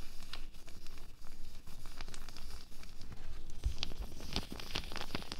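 A loose, empty pink latex glove is scrunched and stretched by both hands, giving dense crinkling and rubbing with soft rustles throughout. Sharper, brighter snaps of the stretched latex stand out toward the end.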